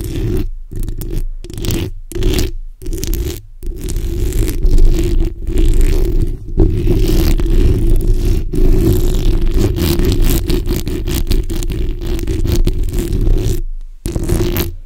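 The backs of long nails scratch over a black hollow steel mesh microphone grille, producing dense, rasping scrapes with a heavy low rumble and a steady hum-like band near 350–400 Hz. The scratching comes in uneven bursts broken by brief silent pauses, then settles into a long continuous stretch before a short gap near the end.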